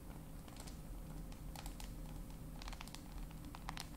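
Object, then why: Glass and metal smartphone. Long nails tap and scratch across the glass of a dark glass-and-metal smartphone, a solid flat device. Quick, irregular bright clicks and light scratches come over a steady low hum.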